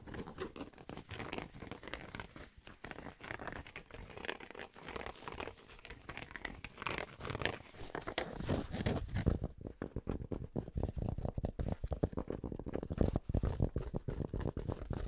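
Fingers scratch and tap the fabric crown and the underside of the brim of an empty, hollow light grey Penn State baseball cap. Dense, soft, low scratching and rustling fill the first half, then after about 9 seconds it shifts to faster, louder, duller tapping with a thumpy low end.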